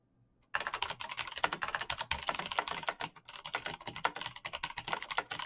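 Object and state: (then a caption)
Mechanical keyboard with plastic keycaps. Fingertips type continuously and fast on a black RGB mechanical computer keyboard with plastic keycaps and clicky switches. After a brief silence, a dense stream of sharp, bright clicks and clacks follows with almost no ring between keystrokes.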